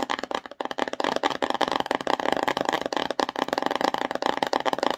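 Long nails rapidly tap and scratch a small, empty, glossy cardboard slime box held upright. The hollow box gives a dense stream of quick, dry clicks and scrapes with a hollow, mid-range tone and a little bright edge, each sharp sound cutting off almost instantly.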